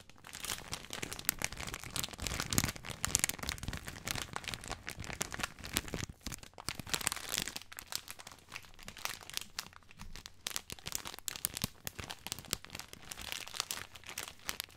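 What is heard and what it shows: A full plastic-film spaghetti bag is turned in the hands while fingertips crinkle the film and its loose end. The result is a dense, continuous stream of bright, crisp crackles and crinkles at a fairly soft level, with brief quieter gaps, and a faint low hum underneath in the second half.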